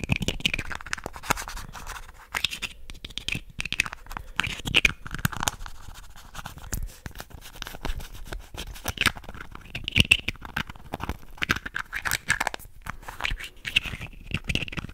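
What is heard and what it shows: Fingernails scratch quickly along the surface of a small, hollow red and white plastic contact lens case held in both hands above the mic. The result is a dense, continuous run of bright, dry scratching, centered high around 2.7 kHz, with brief, sharp bursts and a faint low thump underneath.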